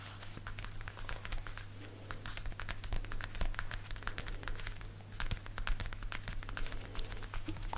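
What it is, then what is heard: Leather jacket. Fingertips and short nails tap and pat quickly on the shoulder of a worn black leather jacket, possibly faux leather. The result is a dense, rapid patter of short, dry, crisp ticks and soft crinkles that die away almost at once, over a steady low hum.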